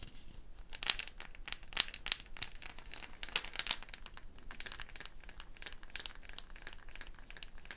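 A hollow dried gourd covered by a string net of wooden beads is held up by its neck and moved and shaken, so the beads rattle against the gourd shell. The result is a quiet, irregular stream of bright, crisp clicks and crinkly scratching, with a few louder rattling bursts in the first half before it settles into a steady, softer rustle.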